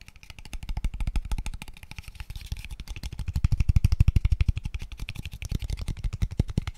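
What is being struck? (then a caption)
Small open-ended square wooden tube. A small, empty, hollow, open-ended square tube of pale wood is held in the hands and tapped quickly with fingertips and nails. The result is a fast, uneven stream of short, dry, low knocks with almost no ring, swelling louder toward the middle before easing off.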